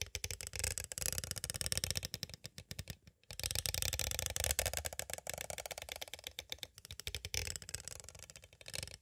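A small, hollow, clear plastic cassette tape case is tapped rapidly with two green plastic stick tools. The result is dense, bright, dry clicking in quick bursts, with a brief pause about a third of the way through before the tapping resumes.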